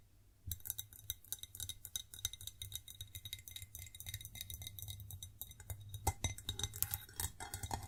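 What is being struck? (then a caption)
Ceramic plate. A white ceramic plate is tapped and scratched in quick, irregular succession, giving bright clinking and ringing sounds over a low hum. The tapping starts after a brief pause and continues densely, with a few louder taps near the end.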